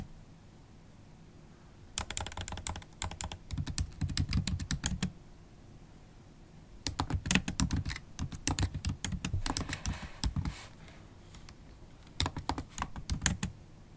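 Long acrylic nails and fingertips type on a MacBook Pro keyboard with black plastic keys set in an aluminium body. Quick, dry clicks and taps come in three bursts of typing separated by quiet pauses, each tap short and bright with a soft low thud beneath.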